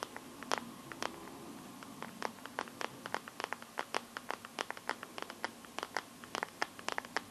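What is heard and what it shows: Long nails scratch and tap quickly across the back of a Samsung phone's teal clear plastic glitter case near the camera. About 37 quiet, dry, sharp clicks and scrapes follow one another over a soft hiss, with no low end and almost no ring.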